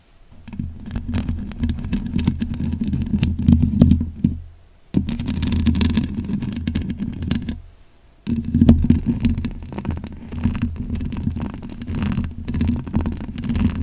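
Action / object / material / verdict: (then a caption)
scrape / metal mesh microphone grille / metal mesh / none. Long pink acrylic nails scratch and tap across the bare black hollow metal mesh grille of a large condenser microphone with no foam cover. It makes a dense, low, rumbling scrape, mostly deep bass around 80 Hz with a thin crackly top. The scratching comes in three steady stretches, separated by two short near-silent pauses.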